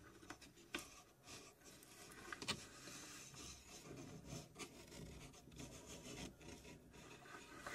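Long nails scratch and rub the plywood door and side panels of a small plywood puzzle safe box, its door open and its inside hollow and empty. The result is a steady, dry, rasping scrape with a bright, hissy texture and a light hollow body, broken by a few sharper, louder strokes.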